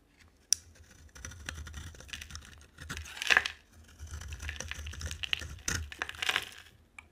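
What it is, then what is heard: Dry soap bar being shaved. A box cutter blade shaves and scrapes curls off a dry, solid orange Fa bar soap with a white core, palm-sized and held in one hand with long dark nails. Crisp, bright scraping and crackly shaving strokes come in bursts, opening with a sharp click and peaking in a louder rasp near the middle.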